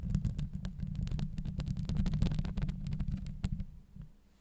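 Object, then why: Steel wire-mesh microphone grille. Long acrylic nails on both hands scratch the sides of a Blue Yeti microphone's hollow steel wire-mesh grille. The result is a dense, rumbling low roar with a steady hum near 190 Hz, cut through by rapid, bright scratchy clicks. It fades out toward the end.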